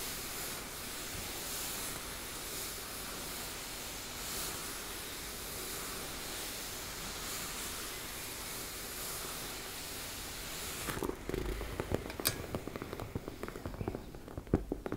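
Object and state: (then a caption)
Fabric cosmetic pouch being scratched. Fingertips rub and nails scratch a teal embossed-fabric cosmetic pouch, producing a steady, soft, broadband hiss for about eleven seconds. The rubbing then gives way to sparser, louder, sharp scratches that stand out with bright, crisp edges.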